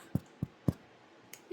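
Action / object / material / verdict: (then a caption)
tap / sourdough bread loaf / bread / baked. A mini sourdough loaf fresh from the oven is tapped with the fingers three times, giving short, dull, low thuds that die away almost at once, followed by a couple of fainter, brighter clicks. The hollow-free thud marks the bread as baked through and done.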